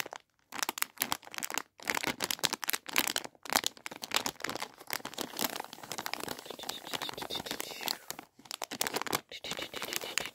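A clear plastic bag filled with sugared fizzy cola bottle gummies is held in both hands while fingers squeeze and crinkle it. The result is dense, bright, crackling crinkles with almost no low end, broken by a few brief silent pauses.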